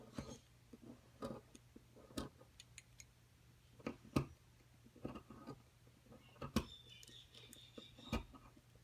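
A thin metal pick scratches and digs into a solid white plaster excavation block, releasing crumbs. About fifteen short, sharp clicks and scrapes come at irregular intervals, some with a bright, gritty edge. They sit over a quiet, steady low hum.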